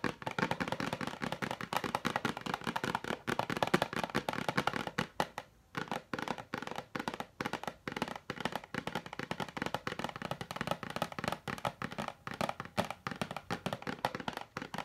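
A medium rectangular cardboard puzzle box with glossy colorful artwork, hollow with contents inside, is tapped with long nails and fingertips. The result is a steady stream of quick, dry, clicky taps with almost no ring and a hollow, papery body. The sound runs continuously with only brief pauses.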